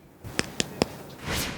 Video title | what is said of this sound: Pressure Check Adventure - Maddie's Do You Know - Educational Videos | it sounded like knocking on a door